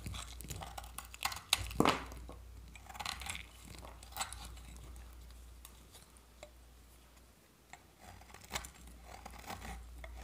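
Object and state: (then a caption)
Dry soap bar scraped with a blade. A utility-knife blade scrapes thin flakes off a solid, partly carved bar of dry, varnished orange soap held in the hand. Quiet, dry, crunchy scrapes and crackles come in uneven bursts with a bright, crisp edge, over a faint steady low hum.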